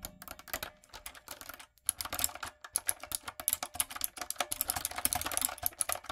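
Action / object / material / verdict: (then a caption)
tap / plastic mechanical keyboard / plastic / none. A backlit, typewriter-style mechanical keyboard with round retro plastic keycaps and a hollow body is typed on with long coffin nails and fingertips. It gives a rapid run of dozens of bright, hollow plastic clicks and clacks, with a brief pause just before two seconds. The typing then continues in a denser stream to the end.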